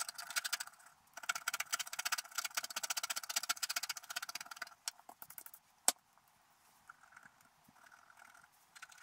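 A wooden stylus scratches away the coating of a flat, wax-coated scratch-art card to reveal a figure on the lower right, while the other hand steadies the card. Quick, dense, bright scratching strokes fill the first half, then thin out into sparser scrapes with one sharp, high tick before fading to faint scratches. The sound is thin and high with no low end.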